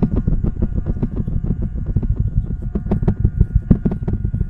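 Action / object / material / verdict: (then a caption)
scrape / cloth-covered microphone head / fabric / none. A microphone head wrapped in a patterned cloth cover is held in one hand while the fingertips and nails of the other hand scratch and pick at the fabric right on the mic. The result is a fast, uneven stream of muffled, deep scratching bursts, about three per second, with faint steady tones humming underneath.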